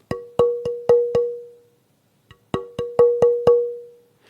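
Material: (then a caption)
Wood. A tonewood board for a violin is held close to the ear and tapped to hear how the wood reacts to the impact and how its harmonics spread. Two runs of five sharp knocks, separated by a faint tap, each ring with a clear resonant tone around 480 Hz that decays briefly. The wood sounds very good.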